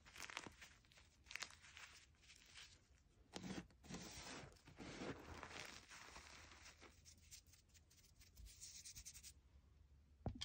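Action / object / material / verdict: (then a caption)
scrape / gym chalk powder on a wooden table / chalk / none. Bare fingertips pinch, crush and rub a loose, dry pile of crumbled white gym chalk (magnesium carbonate) powder on a wooden table. Soft gritty crunches and dry rustling scrapes come in quick bursts over a faint low hum, with a few sharper crackles near the start and end.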